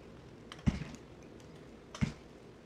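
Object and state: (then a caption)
Bar soap cut with a blade. A box cutter blade cuts and scrapes chunks from the edge of a solid red soap bar held in the hand. Two separate cuts are heard, each a soft, dull, low crunch with a faint click just before it and a brief scraping tail, over quiet background.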